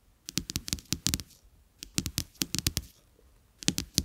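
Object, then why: Coated-paper playing cards. Two flat coated-paper playing cards with a black-and-white checked back lie side by side face down on a dark carpet, tapped and scratched by the fingertips and short nails of both hands. Quick, crisp clicks come in uneven bursts with brief pauses between them. Each one is bright and papery with a soft low thump underneath and almost no ring.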